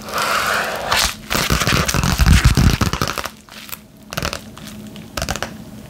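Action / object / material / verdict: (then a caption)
scrape / padded paper bubble mailer envelope / paper, plastic / none. A flat yellow padded bubble mailer envelope held in both hands as long nails scratch and tap across its front. Dry crinkling and scratching mix with a run of quick, uneven taps that swell louder in the middle before settling into softer scratches.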